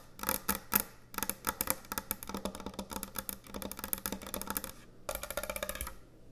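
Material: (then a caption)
Wood. Long nails tap quickly on the top and edge of a large, thick, solid end-grain hardwood butcher block cutting board. The result is a dense run of dry, bright clicking taps that die away almost instantly, with short pauses around one second and five seconds in.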